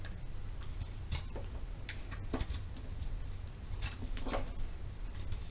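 A metal knife cuts and scrapes into the face of a palm-sized solid round soap with pink and purple marbling, held in the hand. Soft, dry crackling and scraping ticks come in short bright bursts over a steady low rumble.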